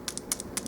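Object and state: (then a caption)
Metal toy robot part. A part of a Transformers Aerialbot toy robot is tapped several times to check whether it is plastic or metal, giving short, bright clicks with little ring. The sharp tap sound, along with metal visibly shining through, shows the part is metal.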